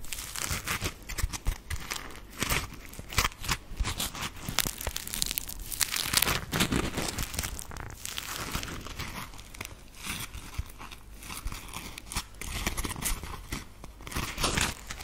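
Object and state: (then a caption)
Foam sponge scratched with fingernails. A grey textured polymer foam smiley sponge (Scrub Daddy) is held in front of the microphone and scratched with long acrylic nail tips. It makes a dense, continuous run of bright, dry crinkling and tearing-like scratches with quick crunchy bursts and no ring-out.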